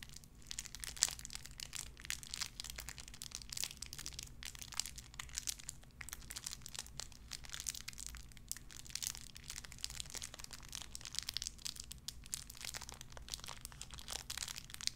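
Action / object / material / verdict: scrape / small clear plastic bag / plastic / none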